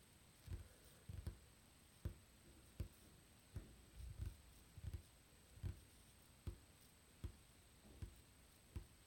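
Fingertips tap and drum on a flat, solid, dark-stained wooden tabletop with visible grain, beside a small untouched hourglass. Dull, low, quick-fading knocks and soft drumming come in an irregular pattern at a quiet level. A faint, steady, high tone runs underneath throughout.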